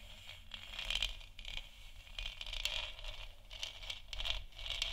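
Long nails scratch the sides and top of a large, hollow, 3D-printed plastic moon lamp sphere that is lit white. Quiet, irregular bursts of dry, bright scraping sound, centred around 3 kHz, rise and fade over a low, steady rumble.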